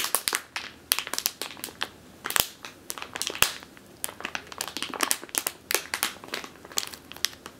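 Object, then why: Plastic bag filled with flour. Long teal nails squeeze and crush a medium clear plastic bag with a purple label, full of flour or grain. The result is a steady run of sharp, bright crinkles and crackles, each dying away almost instantly, with very little low end and quiet gaps between the squeezes.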